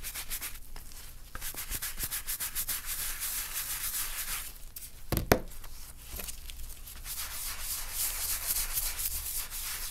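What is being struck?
Leather wallet.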